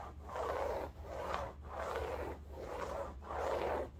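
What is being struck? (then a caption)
Woven fabric bolster pillow. Long nails scratch back and forth across a large, soft-filled cylindrical bolster pillow upholstered in striped woven fabric. Five dull, rhythmic rasping strokes swell and fade, their scratchy texture sitting in the mid-range over a faint low hum.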